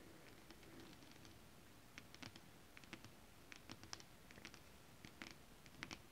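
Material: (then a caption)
Fabric. Long acrylic nails scratch and tap a flat sheet of shiny holographic mermaid scale fabric with both hands. Quiet, steady scratching runs throughout, broken by many short, dry, bright clicks and taps that stop at once.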